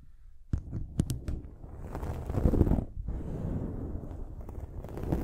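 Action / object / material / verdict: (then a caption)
scrape / foam microphone windscreen / foam / none. Long nails scratch a dark foam windscreen on a silver microphone. A few sharp taps at the start give way to a steady, muffled scraping and rumbling that is mostly deep and low, swelling and easing as the scratching continues.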